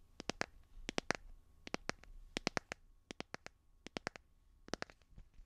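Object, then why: Plastic phone case on a smartphone. A light blue, hard, solid plastic phone case on a handheld smartphone is tapped and scratched with fingernails close to a binaural microphone. Sharp, dry, bright clicks come in quick bursts of three or four, roughly two dozen taps in all, each dying away almost instantly over a faint scratchy hiss. The sound is quiet and crisp, with little low end.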